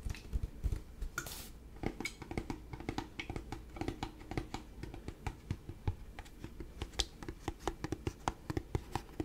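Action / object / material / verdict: tap / plastic liquid bottle / plastic / none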